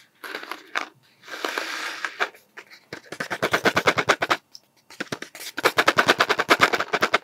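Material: Cardboard.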